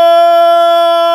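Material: Nothing is struck.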